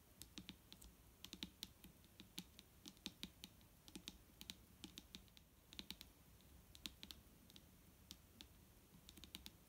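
Fingertips tap on a plastic micellar water bottle in quick, irregular bursts of sharp, typing-like clicks. Each tap is bright and dies away almost at once, over a faint low rumble.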